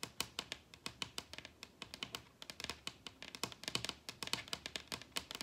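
Long red nails on both hands tap rapidly across a large, solid wooden table top. The result is a quick, uneven run of sharp, bright clicks with very little low end, each dying away almost at once.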